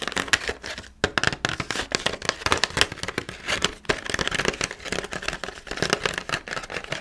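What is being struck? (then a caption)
Clear plastic blister pack on a cardboard backing card. Long nails tap and scratch the hollow clear plastic blister and the orange cardboard backing card of a pumpkin carving kit, which holds red plastic carving tools. The result is a steady run of bright, crinkly clicks and scratchy rustling with almost no ring, briefly pausing near 1 and 3.9 seconds.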